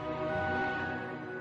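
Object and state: Nothing is struck.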